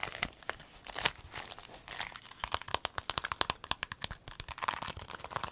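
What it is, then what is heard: Clear vinyl pencil case crinkled. A rainbow clear vinyl pencil case, rolled into a tube, is squeezed and crinkled in the hands. Bright, dry crinkling and crackling give way to a quick run of sharp, crisp snaps in the second half, each dying away almost instantly with little low end.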